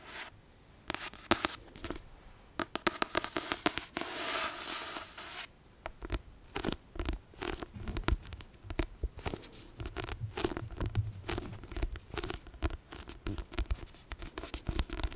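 Long nails tap rapidly and irregularly on the card cover of a solid Chamber of Secrets paperback, making dense, sharp, dry clicks with almost no ring. Around the middle, a soft, bright, breathy rustle swells for about a second and a half before the quick tapping resumes and continues to the end.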